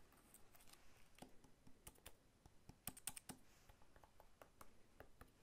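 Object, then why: Whole pineapple with scaly rind. Fingertips and short nails tap quickly on the scaly rind of a whole, solid pineapple held sideways in one hand. The result is a soft, irregular patter of dry, clicky taps with bright edges and very short decay.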